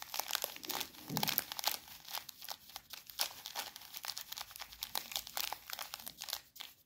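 A small clear plastic bag full of coarse bath salt is held in one hand and brushed over with a soft makeup brush. Dense, bright crinkling and gritty crackles of plastic and shifting salt grains come in quick, uneven bursts with almost no low end.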